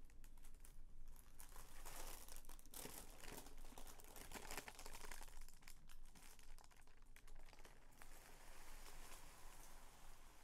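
A sheet of purple tissue paper, folded into a long strip on a bedspread, is folded with the fingertips and palms, then pressed and smoothed. Continuous soft crinkling and rustling fills the clip, with denser bursts of crackle and a steady low hum underneath.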